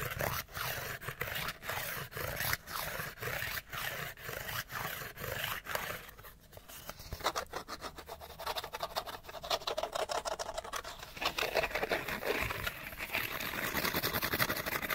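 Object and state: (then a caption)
Cardboard light bulb box. Fingernails scratch and rub rapidly over a small, hollow, printed cardboard light bulb box. The first few seconds come as short, regular bursts of dry, papery scraping. The sound then turns into a dense, continuous flurry of fast, bright scratching with a hollow rasp.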